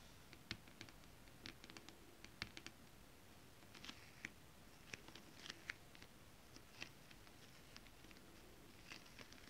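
Long acrylic nails tap and scratch across flat holographic foil mermaid-scale fabric. The result is a quiet, irregular patter of crisp, bright clicks and brief scratchy rasps over a faint low hiss, each tap dying away almost instantly.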